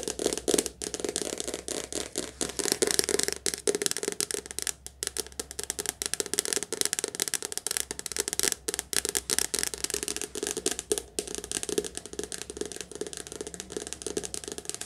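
A softcover paperback book is held sideways while its glossy cover is tapped fast with long dark nails. It makes a dense, continuous stream of crisp, bright clicking taps with a slight papery rattle. A faint low hum runs underneath.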